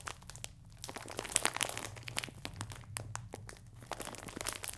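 A clear plastic film bag full of biscuits is crinkled sideways, then held upright and squeezed. A steady stream of bright, crackling crinkles with sharp snaps rises and falls over a faint low hum.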